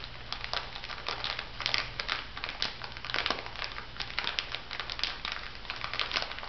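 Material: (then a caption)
Plastic. A small clear plastic bag full of white bath salt granules lies flat and is pressed and scratched with long nails and fingertips. Dense, bright crunching and crinkling rustles continuously, with a low steady hum underneath.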